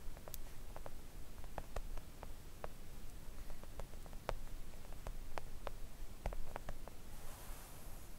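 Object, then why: Silicone nail art mat tapped with acrylic nail tips. Long acrylic nail tips gently tap a flat, thin, solid pink silicone nail art mat, making soft, short, scattered clicks with almost no ring over a quiet low rumble. Near the end, a brief soft brushing hiss is heard.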